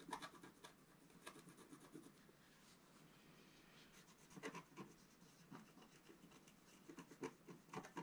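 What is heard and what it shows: A wooden stylus scratches the top right of a flat, black-coated scratch art paper sheet lying on a table. Quiet, dry scratching and rasping strokes come in short bright bursts, clustered near the start and again around the middle and end, with softer continuous scraping between them.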